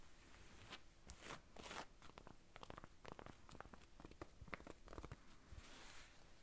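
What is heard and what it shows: Long nails scratch the front and top of a rust-brown corduroy baseball cap with a moth patch, near the button. Quiet, dry rasping strokes and crackly scrapes come in quick bursts, with a soft, bright hiss over the fabric texture.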